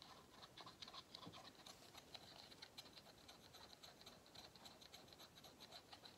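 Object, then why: Pleated paper vacuum cleaner filter. Fingernails scratch along the pleats of a small, hollow, cylindrical vacuum cleaner filter with pleated paper sides. The sound is a quiet, steady stream of rapid, dry, ticking scratches with a bright, papery high end and short, crisp clicks that barely ring.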